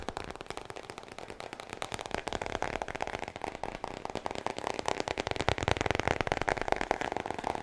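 Fingertips and nails tap and scratch the glossy laminated cardboard front cover of a large, thick, solid hardcover book, the Guinness World Records 2020, held upright near the mic. A dense, irregular stream of quick, dry crackling taps and scratches runs throughout, growing slightly louder toward the end.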